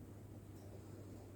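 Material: Nothing is struck.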